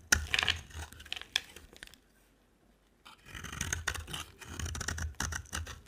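A solid purple oval bar of soap is scraped with a utility knife blade, giving bright, crisp scraping and shaving sounds in quick bursts with low thumps underneath. The scraping pauses for about a second near the middle and then resumes in a steady, rasping run.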